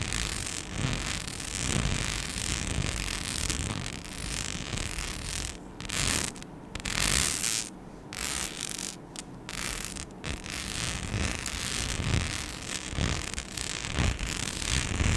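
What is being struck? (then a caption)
Rhinestone-studded sheet scratched with long nails. A flat, palm-sized rhinestone-studded mic skin sheet with cut-outs is scratched with long acrylic nails. The result is a continuous, uneven rasping and clicking texture with bright, gritty highs, a low rumble underneath, and short quiet gaps between bursts of scratching.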